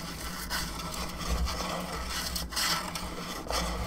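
Long fingernails scratch across the top of a hollow plastic skull candelabra lamp and along its bone arms, making a continuous dry, rasping rub with brief brighter swells. A steady low hum runs underneath throughout.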